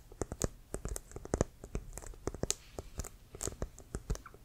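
Fingernails scratch and tap the surface near the white stripe of a brown, leather-covered American football, hollow and inflated and held near the shoulder. An irregular run of short, dry taps and clicks follows, each with a dull, hollow low thump and bright crisp edges, with faint scratching between them and almost no ring.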